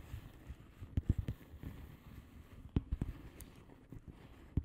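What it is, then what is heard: Plastic bubble wrap envelope. Long fingernails on both hands tap and scratch a flat blue plastic bubble wrap padded envelope with air-filled bubbles. Soft, dull, low taps pop out over a quiet, faint rustle of scratching, each dying away instantly. The louder taps cluster around the first second, near the three-second mark and at the very end.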